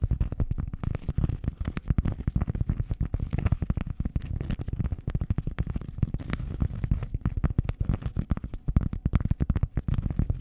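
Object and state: Cork pad being scratched.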